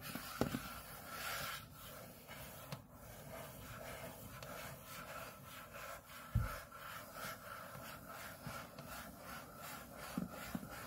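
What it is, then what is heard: Aluminium laptop lid scratched with fingernails. Both hands scratch the back of an aluminium MacBook display lid, by the Apple logo, with short fingernails. A quiet, steady rubbing and scratching hiss runs throughout, broken by four soft, low knocks.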